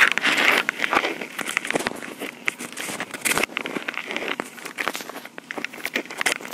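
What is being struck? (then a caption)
Plastic portable audio recorder. Long pink acrylic nails tap and scratch the top and sides of a small, hollow, black plastic Tascam portable recorder. Dense, bright crackling clicks and rough scratching come in quick, uneven bursts, with no low end. Each tap is sharp and dies away almost at once.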